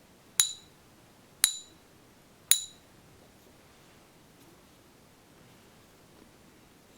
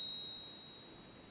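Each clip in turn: First: Three high, thin pings on a coin die away fast, the brief ring of a fake, non-silver piece. Second: One light strike gives a pure high ring near 3.8 kHz that sustains over a second: a genuine silver coin.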